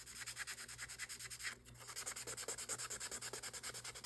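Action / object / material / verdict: scrape / acrylic nail rubbed with a foam buffer block / acrylic / none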